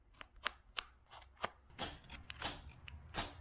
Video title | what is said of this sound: Foxbody Door Panel Resto - Class Is In Session! | this stuff is brittle and I'm gonna try to prove it to you sounds like plastic right